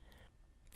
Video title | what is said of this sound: Hip Spica Cast | knock on the fiberglass and hear a hollow sound as the fiberglass gets hard